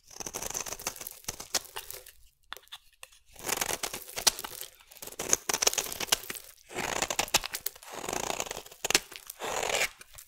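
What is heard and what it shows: A solid purple bar of soap is scraped and shaved with a metal blade. Bursts of crisp, bright scraping and crunching come in several passes, separated by short quiet pauses, with almost no low end.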